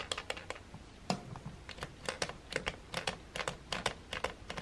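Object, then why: Plastic hair dryer button and casing. A fingertip presses and taps the button beside the slide switch on a silver, hollow plastic hair dryer. About twenty short, dry, bright clicks come in an irregular rhythm, each dying away almost instantly with a faint hollow body.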